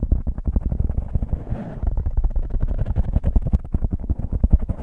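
Fingertips and nails scratch and squeeze a soft, porous black foam windscreen on a microphone. The result is a dense stream of rapid, deep, muffled rubbing and crackling bursts, heavy in the low end and almost without bright content. A brief softer, hissier stretch comes before the scratching picks up again.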